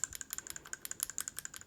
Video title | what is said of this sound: Channellock vs Crescent Adjustable Wrench compairison! | you can hear a little bit I really isn't bad at all there's a lot worse out there